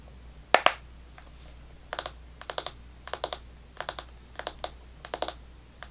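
A small Extra chewing gum pack with clear plastic blister bubbles and a cardboard and foil backing, partly full of gum pieces, is held in the hands and tapped and scratched with long painted fingernails. Two sharp clicks open the clip, followed by quick bright clusters of crisp, dry plastic ticks. Each click dies away almost instantly over a faint low hum.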